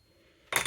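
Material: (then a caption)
Silver. An 1800s silver crown coin, confirmed as authentic 925 silver by specific gravity, is pinged with a Pocket Pinger. After a near-silent lead-in, a short bright metallic ping is heard with a high tone around 2 kHz. The ring is faint and dies away within a fraction of a second, likely from surface blackness, impurities, or lower purity in 1800s silver.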